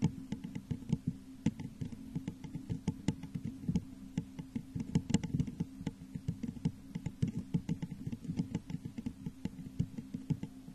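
Long nails tap the sides of a hollow, textured clear glass vase turned upside down over a microphone. A quick, uneven stream of soft taps follows, each a short, dull, low thump with a faint bright click and almost no ring.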